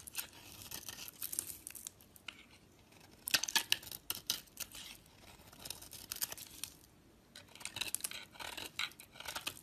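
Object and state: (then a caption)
Bar of soap being scraped. A utility knife blade scrapes thin, powdery shavings from the edge of a solid white oval bar of soap held in a hand with long nails. Bursts of bright, crisp, papery scraping strokes come and go with short quiet gaps, with almost no low end.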